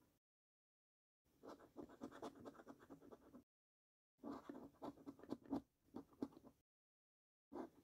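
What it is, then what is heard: Paper scratch card being scratched. A coin scratches the latex coating off the middle and right panels of a paper scratch card resting on a wooden table. Bursts of quick, rough, dry scraping strokes are separated by short silences, with a midrange body and no ringing afterward.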